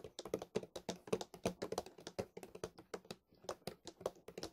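A large white plastic milk bottle, held sideways, is tapped and scratched along its body with fingertips and nails. About thirty quick, uneven, hollow taps with a low-mid tone die away almost at once, with a brief pause before the final run of taps.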